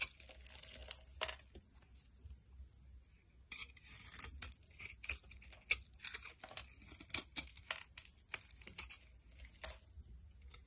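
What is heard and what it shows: A metal utility knife blade shaves flakes from the edge of a solid pink bar of dry soap held in the hand, scraping and carving. Crisp, bright scraping and crunchy shaving strokes come in quick, uneven bursts over a faint low hum. The sound is quiet and dry, with each stroke stopping sharply.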